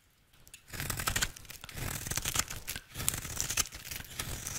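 A square, solid, dry yellow soap bar held in the hand is shaved with a utility knife blade. After a brief quiet start, uneven bursts of crisp, bright scraping and crumbly, tearing crunches follow one another as the blade cuts through the soap.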